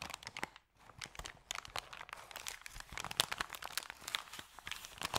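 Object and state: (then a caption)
Paper bag. Hands hold and scrunch the edges of an opened, crumpled, thin, empty white paper bag, making dense, bright, crackling crinkles. The sharp dry crackles come in quick overlapping bursts, with one brief near-silent gap early on.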